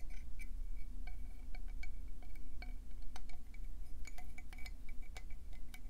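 A conch seashell is tapped quickly and continuously, following earlier brushing. The result is a dense run of sharp, bright, glassy clicks over a steady low hum.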